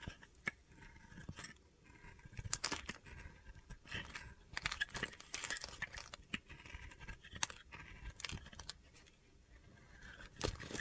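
A utility knife blade scrapes and carves thin flakes off a solid, hand-sized soap bar, white with an orange layer, held in the hand. The clip is a quiet run of short, crisp, bright scraping and crunching strokes that stop sharply, with faint gritty rasps between them.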